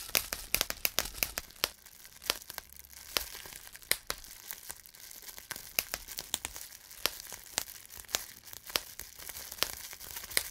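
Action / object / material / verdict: squeeze / plastic bubble wrap / plastic / none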